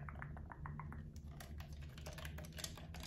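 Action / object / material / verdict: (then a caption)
tap / plastic game controller / plastic / none. A blue camo plastic gamepad is held in both hands while fingertips click its buttons. Rapid, quiet, short plastic clicks patter over a steady low hum.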